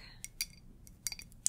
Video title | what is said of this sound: ASMR Follow My Instructions BUT YOU CAN CLOSE YOUR EYES 😳 EYES CLOSED CHALLENGE 🔥 Focus on Me | it's glass. Tapping and scratching on glass. It's a glass mug.